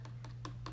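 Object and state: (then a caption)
Wet acrylic nail. A nail file taps the most recently applied acrylic nail four times, giving soft, light clicks over a steady low hum. The softer sound shows the acrylic is still a little wet, so it is left to dry.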